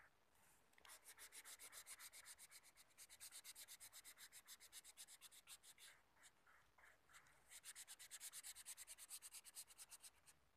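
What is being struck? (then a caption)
Felt-tip marker rubbing on a thin paper sheet. A green felt-tip marker rubs back and forth across a flat sheet of light blue paper or thin card, colouring in a heart outline. About 55 quick, quiet strokes make a bright, dry scratching with a few short pauses, each one stopping almost at once.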